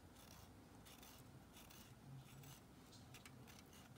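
A thin pink stick scrapes grooves into the edge of a palm-sized solid white Dial bar soap, held in a blue-gloved hand over a metal tray, in a failed soap-cutting attempt. Quiet, repeated bright scratchy strokes rise and fade over a steady low hum.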